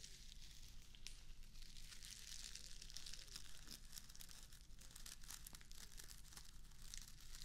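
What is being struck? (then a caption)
Plastic artificial grass turf square. A small square of plastic artificial grass is held in one hand while long acrylic nails rake and scratch through its blades. The result is a steady, bright crinkling and scratching texture made of many quick, crisp strokes. A low hum sits underneath throughout.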